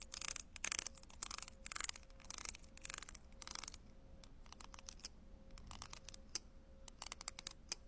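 A metal tool with a green handle taps and scratches individual tiles on a sheet of small round ceramic penny tiles on a white backing. Bursts of bright, gritty scratching alternate with sharp, dry clicks, over a faint steady hum near 550 Hz, and the taps stop with almost no ring.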